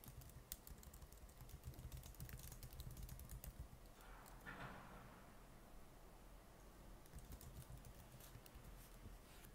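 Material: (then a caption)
Plastic. Both hands type with their fingertips on the plastic keys of a silver laptop resting on a wooden desk, the whole time. Short, bright, dry key taps click away in irregular bursts over a steady low rumble, with a brief, softer, wider swell midway before the tapping continues.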